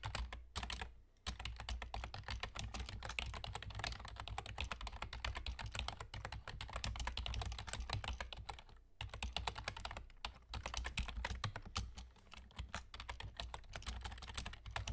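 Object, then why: Plastic computer keyboard. Fingertips with short nails from both hands rapidly type on a full-size black plastic computer keyboard with German key labels and hollow keys. The result is a dense, steady stream of short, bright clacking taps over a low thump, with brief pauses near 1 and 9 seconds.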